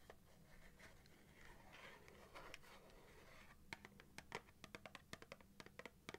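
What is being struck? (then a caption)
Cardboard matchbox. Long dark-painted nails scratch and tap the printed cardboard surface of a small box of 250 wooden matches, likely full and closed, held in both hands. Soft, dry scratching fills the first few seconds, then gives way to a run of sharp, bright, papery taps that die away almost instantly.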